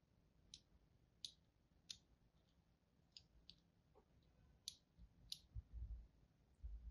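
A palm-sized solid bar of mint-green and white striped soap, held in one hand, is scratched and scored with thin lines by a thin metal tool held by a hand with long pink nails. Sharp, bright clicking scrapes stand out as short separate bursts over a quiet low rumble. A few low thumps come near the end.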